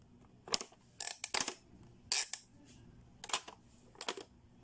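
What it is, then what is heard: Plastic pop-up toy. Fingertips press the round button and dial on a blue hollow hard-plastic Playskool pop-up learning toy, and the plastic lids clack shut. Short, bright, dry plastic clacks and clicks come in separate bursts over a quiet background, with almost no low end and no lingering ring.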